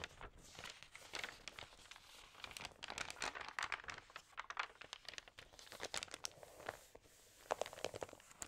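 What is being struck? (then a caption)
Paper magazine pages. Flat hands with long nails press, rub and turn the crinkly, damp, thin pages of a large open magazine lying on a table. Quiet, continuous crinkling and papery rustling with sharp crackles, mostly bright with almost no low end, and brief pauses between page movements.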